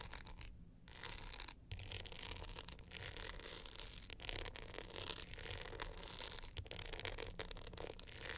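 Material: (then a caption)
Glitter coating. Long nails scratch and rub the glitter face of an upright navy glitter hard-shell clutch with a gold metal frame. The sound is a steady, dense, gritty scratching with bright rasping texture over a low rumble. Brief drops in the scratching break it up.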